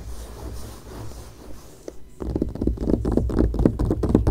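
Long painted nails scratch and then tap across the coated page of an open glossy paper magazine lying flat on a grey blanket. A soft, low, continuous scratching gives way after about two seconds to a quick, steady run of dry, short taps that grow slightly louder toward the end.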